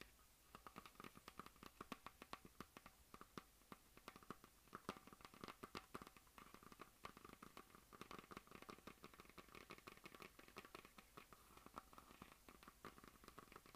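Long nails scratch and tap rapidly across a hollow plastic map globe mounted in a semi-meridian on a stand. The result is a quiet, dense stream of short, dry clicks and scratchy rasps with a steady hollow tone around 1.2 kHz and bright edges, each tap dying away almost instantly.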